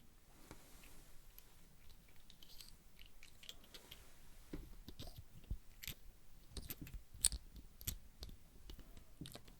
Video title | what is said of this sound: Roleplays' Props - ASMR Antiques Show & Tell #5 - Cozy Basics (soft spoken) | コインをこすったときに出る 柔らかくて軽い 金属音が好きなんです